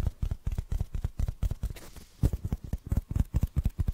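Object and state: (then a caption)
Foam block. A small black foam block that looks solid and porous is held in the hand and tapped and scratched with fingernails. About two dozen quick, dull, low thuds sound in an irregular rhythm, briefly giving way to a softer, hissy scratching stretch in the middle before the tapping resumes.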